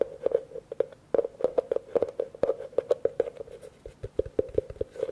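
Fingertips and nails tap quickly on the outside and rim of a hollow, empty blue plastic bucket held in one hand. The result is a rapid, uneven run of short, dry knocks, each carrying a hollow tone near 490 Hz. Every knock dies away almost at once.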